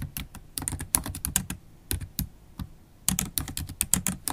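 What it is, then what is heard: Plastic laptop keyboard being typed on. Long acrylic nails and fingertips type fast on a MacBook Pro keyboard with black plastic keys in an aluminium body. About twenty quick, dry taps come in bursts, with a pause near the middle: each has a low, soft thud and a bright, clicky edge that dies away almost at once.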